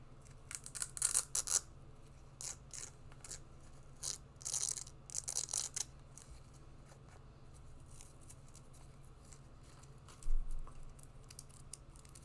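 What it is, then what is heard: Synthetic sport sandal. An empty, small black and yellow synthetic sport sandal is held while long nails scratch and tap on it. Bright, crackly scratching bursts come in clusters over a steady low hum, with quieter stretches between them and a sharper cluster of taps near the end.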